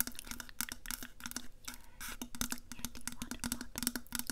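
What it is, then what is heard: Stainless steel insulated water bottle. A tall, black, powder-coated stainless steel Yeti insulated water bottle, hollow and held upright next to a lapel mic, is tapped with long nails along its side. A rapid, uneven run of sharp clicking taps sounds, each with a brief hollow ring around 250 Hz that dies away almost at once.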